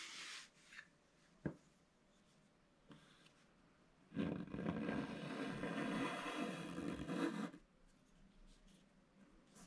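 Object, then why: Black-coated scratch-art paper scraped with a wooden stylus. A wooden stylus scratches the black coating of a scratch-art paper page held flat, working at the top and bottom edges. A few short, faint scratches and a sharp tick come first, then a steady, bright rasping scrape runs for about three and a half seconds before fading back to quiet.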